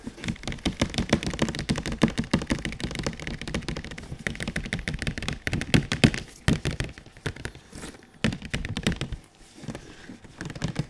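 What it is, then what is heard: Cardboard box tapped with fingertips. A large glossy printed cardboard PS4 Pro box, held flat, is tapped with the fingertips of a bare hand and a latex-gloved hand. Rapid, irregular flurries of dull, hollow thunks and light taps follow one another with brief pauses. Each tap dies away almost instantly.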